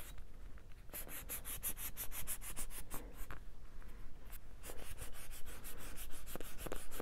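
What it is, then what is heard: Foam squishy toy being scratched. Fingertips rub and scratch a small, solid, orange-yellow soft foam squishy toy with a face, held close. The result is a steady run of quick, dry, brushing strokes with a bright, airy hiss over a low rumble, growing a little louder toward the end.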